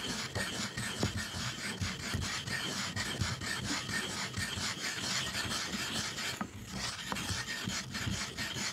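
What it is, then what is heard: Ink stick grinding on a stone inkstone. A hand vigorously rubs a black ink stick back and forth over the flat, ink-wet surface of a dark rectangular stone inkstone. The result is a continuous gritty, rasping scrape with bright hiss, pulsing with each stroke at a steady grinding pace.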